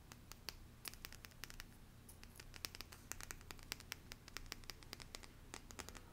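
Long painted nails scratch and tick across the surface of a small, held-up deck of printed cardstock cards with a green leaf design. Rapid, dry, bright scratches and clicks come in quick irregular bursts, each one dying away almost instantly, over a faint, steady low hum.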